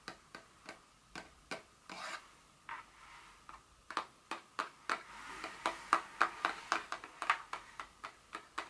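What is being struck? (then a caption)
Paperboard perfume box. Long nails tap and scratch the surface and edges of a small, hollow, printed paperboard Dior fragrance box lying flat. About 28 crisp, dry taps land at an uneven pace. Short bursts of papery scratching fill the gaps, and each tap fades almost at once.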